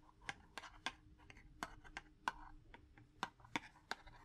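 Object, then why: Cardboard matchbox. A small, hollow purple cardboard matchbox is held in one hand and tapped with fingers and a long wooden match. It makes a quick, irregular series of dry, papery taps with a hollow midrange knock around 1 kHz and a bright click on top. Each tap dies away almost at once, with soft rustling between taps.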